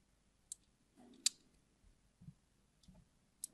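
A small metal blade scrapes thin diagonal grooves across a solid yellow translucent glycerin soap bar held in hand, a repeated scratching and carving action. Three sharp, bright clicks stand out over quiet, soft low rustling between them, and each click stops almost instantly.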